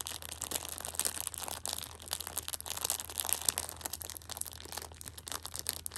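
A hand holds a Shopkins pocket tissue 6-pack wrapped in clear plastic film while a thumb and long red nails press and scratch the film. The result is dense, bright, crackly crinkling with rapid sharp snaps throughout, over a faint steady low hum.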